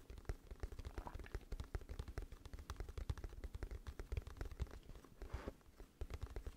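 Long fingernails rapidly tap and scratch the front and corner of a glossy, hollow cardboard music album case held up in the air. Quick, dry, hollow knocks with a deep low thump follow one another in a dense, uneven rhythm. A brief brushing scratch comes near the end before the tapping resumes.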